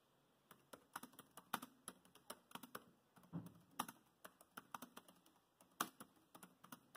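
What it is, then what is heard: Plastic laptop keyboard. Fingertips of both hands type on a dark grey plastic laptop keyboard with chiclet keys. A steady run of short, dry clicking key taps comes through, each dying away almost at once, with a few slightly heavier presses standing out.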